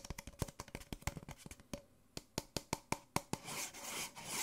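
An empty white disposable paper Nespresso coffee cup, small and hollow, is held upside down in one hand and tapped on its base and sides with fingertips and nails. A rapid run of short, dry, hollow taps gives way to slower, evenly spaced clicks. The clip ends in a sustained bright scratching rustle against the paper.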